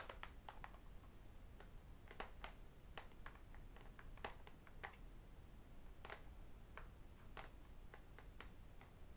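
Fingertips and metal rings tap the metal back of a thin, solid aluminum-backed tablet held flat between the hands. Quiet, sharp, bright clicks come at an irregular pace, each dying away almost at once, over a steady low background rumble.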